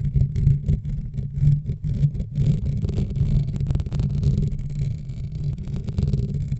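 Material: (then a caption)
Metal. Long nails and fingertips of both hands scratch and rub directly on the dark metal wire-mesh grille of a large USB desk microphone with a hollow head. The result is a steady run of deep, boomy rubbing and scraping strokes, almost entirely low rumble centered around 141 Hz. Faint bright flecks of scratch sit above it.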